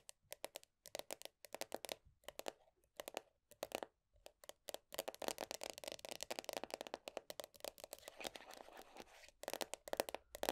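Long nails tap and scratch the black, printed top of the lid on a medium round plastic body butter tub. Quick, bright clicking taps come in rapid bursts with a hollow plastic tone around 570 Hz. A dense stretch of continuous scratching rasps in the middle before the taps return.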